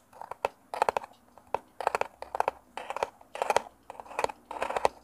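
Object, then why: Small cardboard box. A small, hollow, rectangular brown kraft cardboard box is held in both hands close to a mini mic while fingertips and nails scratch and rub its surface. Short bursts of dry, papery scratching and crinkling come in quick clusters with brief pauses between them, and sharp clicks of the nails are mixed in.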